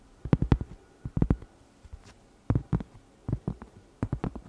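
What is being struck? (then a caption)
Cork trivet. A round, flat, solid cork trivet about 20 cm across is held in the hand while long red nails scratch and tap its surface. The result is short clusters of soft, dull, low thuds that die away almost instantly, separated by brief quiet gaps.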